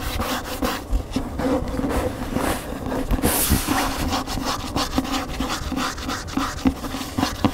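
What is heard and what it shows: Fingernails scratch the spine edge and glossy back cover of a large upright hardcover cookbook, beside its thick solid block of paper pages. A steady, dry scratching and rubbing texture runs throughout, with a low rumble underneath and small sharper flicks scattered through the clip.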